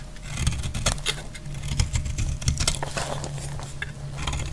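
A solid green bar of soap is scraped with a utility blade, giving a quick series of dry, crisp scratches and flakes over a steady low rumble. The short bright crackles come in dense bursts throughout.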